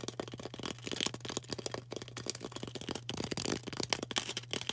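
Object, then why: Floral foam block. Long orange acrylic nails tap and scratch quickly on a solid, rectangular green floral foam brick held in the hand. The result is a dense run of crisp, dry clicks and rustling scrapes that stay bright and die away almost instantly, over a faint steady low hum.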